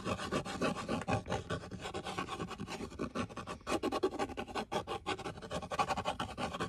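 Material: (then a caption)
Cardboard. Fingertips and nails scratch and scrape the flat face and edges of a small, hollow brown cardboard box held in one hand. A steady run of quick, dry rasping strokes, mostly mid-range with a hollow body, pauses briefly a few times before resuming.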